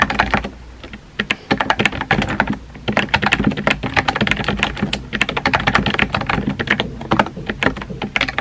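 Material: Plastic.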